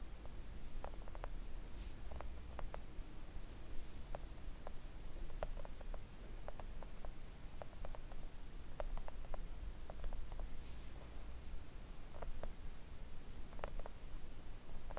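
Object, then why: Silicone nail art mat tapped with acrylic fingernails. Long acrylic nails tap on a flat pink silicone nail art mat lying on a table, making soft, short clicks scattered over a steady low hum. The taps are quiet and dull, with almost no ring.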